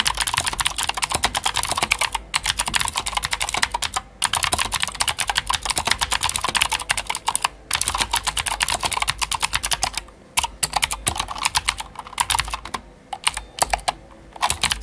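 Both hands' fingertips type continuously on a full-size white Glorious GMMK White Ice mechanical keyboard with plastic keycaps and clicky Gateron Blue switches. The result is a dense, rapid stream of sharp, bright clicks and clacks with almost no low end, broken by brief pauses.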